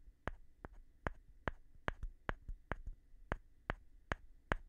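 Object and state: Light wooden board tapped.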